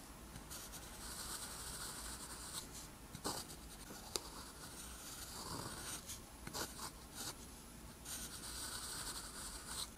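A metal pen nib scratches across a flat, thin sheet of lined white paper while writing letters in green ink. The sound is a quiet, steady, bright scratching with soft broadband friction, broken by several short, sharper ticks as the nib strokes and lifts.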